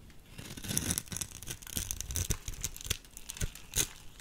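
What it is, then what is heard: Soap bar crumbled. A solid white soap bar's scored edge is crumbled into small cubes with a small metal blade and fingers. The carving and crumbling make a dense run of crisp, dry crunches and tearing crinkles with bright, sharp clicks over a soft low rumble.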